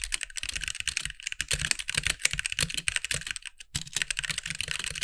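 Both hands type with fingertips on a compact backlit mechanical keyboard with white plastic keycaps. It makes a rapid, steady run of bright, sharp clacks centered around 2.3 kHz, each cut off almost at once, with a light low thump under some strokes. There is a brief pause near the 3.6-second mark before the typing resumes.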